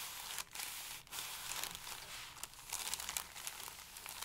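Both hands rub and press a stack of thin pale paper sheets flat with fingertips and palms, crinkling them. A dense, bright crinkling rustle runs throughout, with brief dips in loudness around half a second and one second in.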